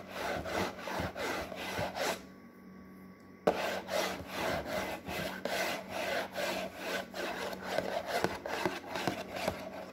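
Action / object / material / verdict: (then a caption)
scrape / printed paperboard box / paperboard / none. Fingernails scratch and rub across a glossy printed paperboard box for a snack-maker product, making rapid, rhythmic, papery rasping strokes with a midrange bite and a bright hiss. The strokes stop for a quiet pause of over a second, then resume with a sharp scrape and keep going at the same brisk, uneven pace.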